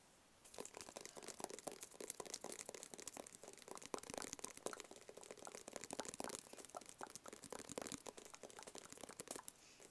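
Fingertips and nails tap rapidly and continuously on a small, hollow, rigid black cardboard box with a white label. The taps are quiet, dry and crisp, with short crinkly clicks that carry bright high detail and almost no low end. Each tap stops almost instantly, leaving no ring.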